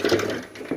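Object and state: Metal fuel tank with gravel and liquid sloshing inside.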